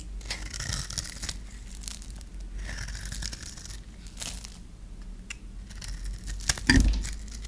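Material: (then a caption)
Soap. A solid, dry, rectangular purple bar of soap is held in the hand and shaved and scraped with a metal blade, sending curls and flakes off the bar. Repeated crisp, papery scraping rasps come in bright bursts over a low steady rumble. A sharper, louder crack stands out near the end.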